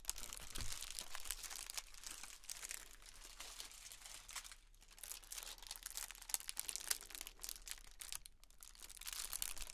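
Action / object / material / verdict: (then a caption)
shake / metallic foil pom poms / metal foil / none. A pair of blue and gold metallic foil pom poms with white handles, lightweight and thin, is held in both hands and shaken and crinkled up close. Dense, continuous bright crinkling and rustling fills the clip with many quick crackles, easing briefly near the middle before swelling again.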